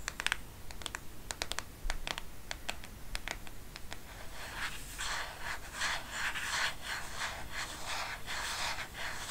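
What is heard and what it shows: Long painted nails tap quickly on the surface and edge of a black plastic smartphone case back. Sharp, bright clicks come first in an irregular patter, then the second half thickens into dense, continuous scratchy tapping and rubbing with very short decay over a low background hum.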